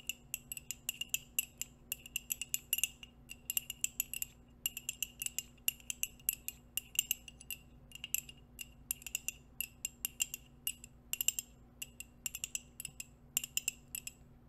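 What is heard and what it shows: A hollow white ceramic coffee mug, held in both hands close to the mic, is tapped rapidly with long nails and metal nail rings. The result is a steady stream of quick, bright clinks and ticks with very short ring over a faint low hum.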